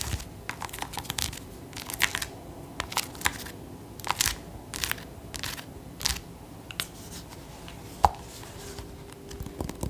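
A whole, medium-sized orange acorn squash with a hard, somewhat hollow rind is held in one hand and tapped with the fingernails of the other. The result is an irregular run of sharp, dry clicks and light scratchy taps. Each tap dies away almost instantly against a quiet background.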